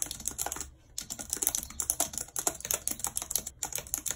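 Long red nails type quickly on the plastic keys of a white plastic computer keyboard. The result is a fast stream of sharp, bright clicks and taps, with a brief pause near the start and another near the end.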